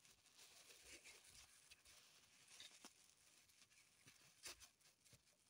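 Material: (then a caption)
Plastic film. Long pointed acrylic nails scratch and press a small solid green floral foam block in its crinkly clear plastic wrapper, resting on a table. The sound is a quiet, steady, bright crinkle and hiss, broken by several short, sharp ticks and snaps that die away almost instantly.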